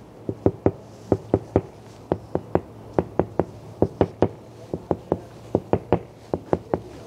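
Bare knuckles knock repeatedly on the large laminated double-pane glass side window mounted in the door of a Tesla Model 3, at night at a petrol station. Twenty-four short, dull, muffled knocks sound in uneven groups over about seven seconds. Each knock is centered around 390 Hz and dies almost instantly with no ringing.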